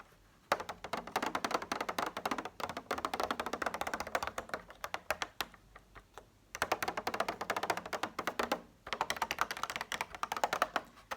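A plastic egg container, swapped into a lineup of items to replace an eaten breadstick, is tapped rapidly. Dense bursts of short, dry, clicky taps run with brief pauses and a sparser stretch in the middle, each tap fading almost instantly.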